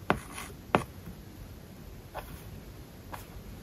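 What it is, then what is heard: Stylus writing on a tablet screen with matte paper-like film. A hard plastic stylus tip writes English words and Japanese characters on an iPad lying flat, its glass screen covered with a matte paper-like plastic film. Two sharp, dry taps come first, followed by two softer strokes, each short and scratchy with almost no ring. Faint surface scratching sits between them over a quiet background.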